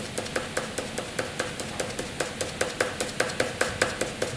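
A graphite pencil shades a box on a flat white sheet of drawing paper with quick, light strokes. About 21 short, steady scratches sound at roughly two and a half per second, each a brief dry rasp with a faint tone near 500 Hz and a bright, hissy top.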